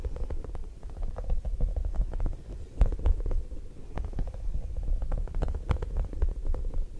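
A small, soft, squishy yellow spiky rubber or silicone puffer ball is squeezed and rubbed with the fingertips of one hand right beside the microphone, while the other hand rests on the lap. It makes a close, low, rumbling squish full of dense, irregular soft crackles and rubbery squeaks, with a few sharper bright ticks standing out.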